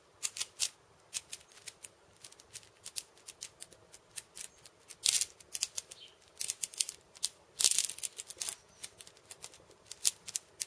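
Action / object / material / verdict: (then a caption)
tap / steel bead cabasa with wooden rim / steel beads / none. Close-up fingertip taps and scratches on the steel beads of a cabasa, which sit on a wooden rim. The result is a quick, irregular run of dry, bright clicks and rattles with almost no low end and no ring. A few louder, longer scratchy bursts stand out, around 5 and 7.7 seconds.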